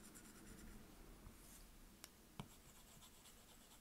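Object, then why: Plastic stylus on glass touchscreen. A plastic stylus tip is drawn and scribbled across the glass touchscreen of an iPad, making a quiet, steady writing-like scratch with soft, bright swishes. Two sharp taps of the tip on the glass stand out near the middle of the clip.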